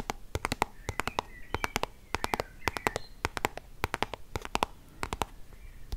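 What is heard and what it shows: Long nails tap and scratch a small white soft plastic sunscreen tube, making rapid, dry clicking taps with a quick decay. Faint scratchy rustles are heard between the taps.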